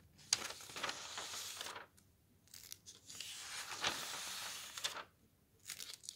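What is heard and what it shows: A flat hand rubs the thin printed page of a thick softcover book lying open on a table, then fingertips lift, slide and flip the thin pages between the fingers. Long, bright papery swishes and crisp rustles rise and fade with quiet pauses between them, ending in a few short, light flicks.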